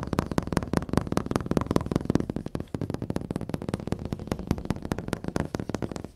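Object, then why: Flat-screen TV glass panel. Fingertips and nails tap and scratch the solid, glossy black glass panel of a large wall-mounted flat-screen TV, with the recorder held close. A rapid, steady run of about thirty short, dull taps sits low in pitch with almost no brightness. Each tap stops dead with no ring, over a soft scratchy rustle.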